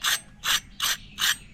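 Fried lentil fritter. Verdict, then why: Crispy. A freshly fried medu vada (lentil fritter) is pressed or broken by hand, giving four short, bright crackling crunches with almost no low end and no ring between them. The sound shows the fritter is crispy, crunchy on the outside and soft inside.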